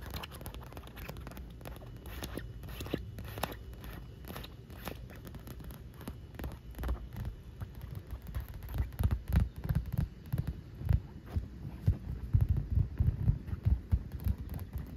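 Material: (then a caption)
Vinyl. Long nails tap and scratch the inflated surface of a large pink inflatable vinyl pool ring, hollow and air-filled, floating on the water. Dull, low, hollow thumps mix with soft scratchy rubbing in a steady, irregular patter. The tapping grows louder and heavier in the second half.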